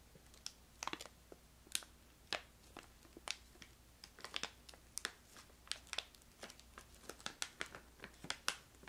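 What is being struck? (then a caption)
Filled plastic pouch. A filled, brown-red plastic pouch of crystallized ginger is crinkled and squeezed with long nails. It makes a quiet, steady run of short, sharp, bright crackles and snaps. Each sound dies away almost at once over a faint low hum.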